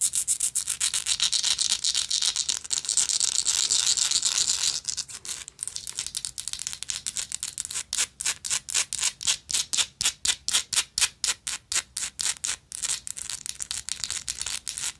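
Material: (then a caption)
Metal. Long nails scratch and tap the textured face of a gold metal lighter. About five seconds of dense, bright scratching gives way to a softer pause, then a steady run of quick, dry strokes at roughly four per second. All the sound is high and hissy, with no low end and almost no ring after each stroke.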